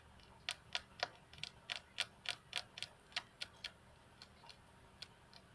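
Long fingernails on both hands tap the flat, solid glass tabletop of a computer desk. About sixteen sharp, bright, clicky taps come in an uneven rhythm, each dying away almost at once, and they grow softer and sparser toward the end.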